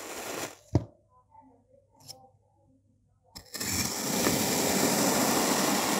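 A hand-held, white-bladed knife slices a solid, molded two-tone dark purple and beige kinetic sand block into slabs. A gritty scrape gives way to a sharp crack and a near-silent pause with faint soft sounds. Then a loud, steady, bright grainy hiss of the blade cutting runs to the end.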